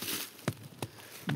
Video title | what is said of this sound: What Our WOODS Tell Us — Ep. 025 | That tells you how you can hear the resonance in there.